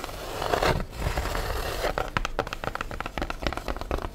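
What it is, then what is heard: Styrofoam food tray. Long nails scratch quickly over the ridged foam underside of an empty black styrofoam food tray with an embossed logo, held upright. A dense, rough scraping hiss runs for the first two seconds, then breaks into a rapid series of short, crackling scratches.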